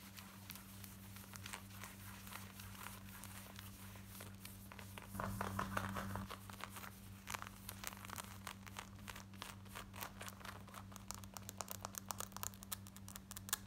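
Long nails scratch the pocket and waistband area of worn black denim jeans, giving a steady, fast rasping with dense crinkly scratches over a low constant hum. The scratching swells louder for a stretch in the middle before settling back to a quick, uneven rhythm.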